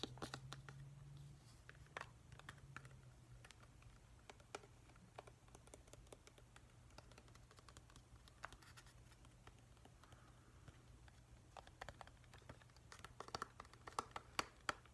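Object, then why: Small hollow plastic night light. A hand-sized, hollow, glossy plastic whale-shaped night light is held in both hands and tapped with fingertips and nails along its body and tail. Quiet, irregular clicks and light scratchy taps sound over a steady low hum, with sharper, brighter taps near the end.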